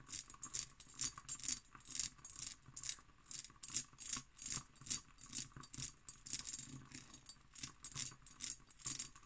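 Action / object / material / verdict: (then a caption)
tap / cut glass decanter / glass / none. Fingernails tap and scratch an empty hobnail cut glass decanter held in both hands, making quick, bright, rattly clicks at an uneven rate of about two per second. Each tap is short and dry, with almost no ring, and a faint scratchy hiss runs between them.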